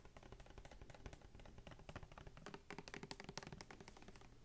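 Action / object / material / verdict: tap / small plastic mouthwash bottle filled with liquid / plastic / none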